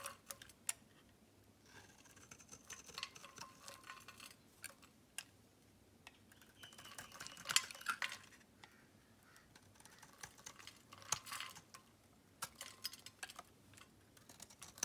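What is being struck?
Bar of soap scraped with a metal blade.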